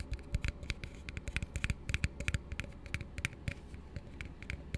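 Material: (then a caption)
Plastic. An empty, hollow plastic drinking cup is held and turned in the hands while fingertips and nails tap and scratch quickly on its sides. The result is a rapid, irregular run of short, dry clicks and ticks with a bright edge over soft, low hollow thumps, each dying away almost instantly with a faint scratchy rustle between them.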